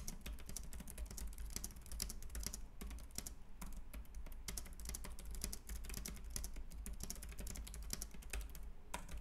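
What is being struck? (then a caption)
Compact plastic computer keyboard. Fingertips type continuously on a white, compact plastic Logitech K380 keyboard with round keys. A rapid, steady stream of light, bright plastic key clicks and taps plays over a constant low hum, each tap short and dry with almost no ring.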